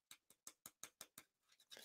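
Fingernails tap a piece of cardboard that has been coated with wood glue, dried and hardened with a heat gun, and is a little beat up from use. Seven sharp, bright clicks with almost no ring come in a steady rhythm, followed by a few softer, blurred taps. The surface sounds very hard and glossy.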